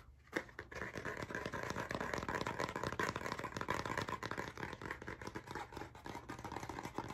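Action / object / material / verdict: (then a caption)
scrape / spiral-bound notebook with cardboard cover / cardboard / none. A blue spiral-bound hardcover notebook with a cardboard cover and metal spiral binding is held up and turned while fingertips tap and scratch its cover. The result is a fast, dense, irregular stream of dry scratchy taps with a papery midrange rasp and little ring. The sound starts with a sharp tap and stays busy and steady throughout.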